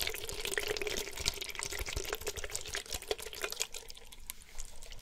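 A plastic Gatorade-type sports drink bottle with some water inside and an orange cap is held in one hand and shaken. The water sloshes and splashes steadily inside the plastic, giving a bright, busy stream of quick watery clicks and gurgles with a low rumble underneath.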